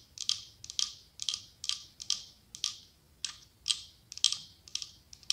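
Long acrylic nails tap and scratch the side of a medium cylindrical glass candle holder decorated with autumn leaves, with a white candle inside. The result is a steady series of quick, bright clicking taps in short clusters, each dying away almost instantly, with a faint scratchy texture and no low end.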